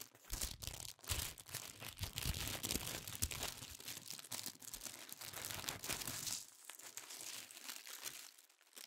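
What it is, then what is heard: Tissue paper crinkling. A stack of thin pink tissue paper sheets, held in both hands, is crinkled and folded with the fingers. It makes dense, bright crinkling and rustling, with soft low thumps in the first six seconds. The crinkling then thins to a quieter, lighter rustle.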